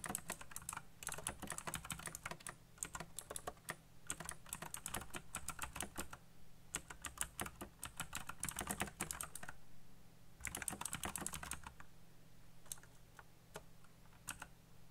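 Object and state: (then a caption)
Plastic mechanical keyboard. Fingertips type fast on a backlit black plastic mechanical keyboard with RGB lighting and hollow key switches, making dense bursts of sharp, bright, clacky clicks. The typing runs in quick flurries with short pauses, over a steady low hum. It thins to a few scattered taps near the end.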